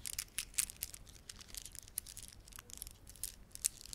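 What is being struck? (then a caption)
Plastic beaded ornament. Fingertips rub and press the beads of a red, blue and white plastic beaded ornament, making a quiet run of dense, bright clicks and crinkling ticks. The sound is a steady stream of short, sharp transients with no ringing.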